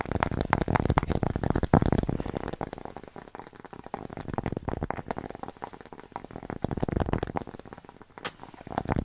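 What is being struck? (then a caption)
Cork coaster. Long nails rapidly tap and scratch a thin, flat, square cork coaster with a red dot, held in the hands. The result is a dense stream of short, dull, low-heavy taps and rough scratching with little brightness. It is louder at the start, softer through the middle and builds again toward the end.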